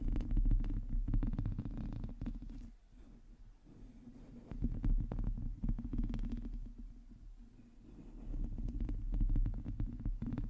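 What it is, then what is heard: Metal mesh microphone grille being scratched. Long teal nails on both hands scratch the hollow, domed metal mesh grille of a black microphone. The result is a dense, low, rumbling scrape made of rapid, uneven strokes. It swells loud at the start, drops quieter twice in the middle, and builds back up near the end.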